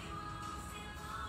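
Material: Nothing is struck.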